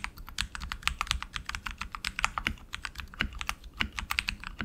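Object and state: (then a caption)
Mechanical keyboard being typed on. Both hands type continuously with fingertips on a tenkeyless RGB mechanical keyboard with black plastic keycaps and lubed tactile switches on an aluminum frame. The result is a steady stream of short, bright clicky keystrokes with a low thump under them and almost no ring.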